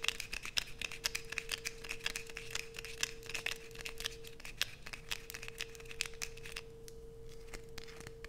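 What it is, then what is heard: Bar soap being scraped. Long nails scratch and scrape shavings off a solid light-blue bar of soap held in both hands, letting them fall onto a dark sheet. Rapid, sharp, bright scrapes and crackles repeat over a steady low tone near 470 Hz, easing slightly in the final seconds.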